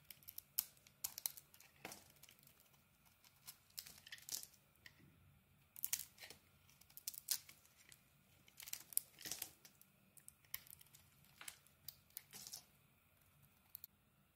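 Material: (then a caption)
Soap. A utility blade peels the blue coating off a solid blue and orange bar of soap in strips. The result is quiet, dry, bright crackling and scraping in irregular clusters of sharp ticks, with almost no low end and no ring.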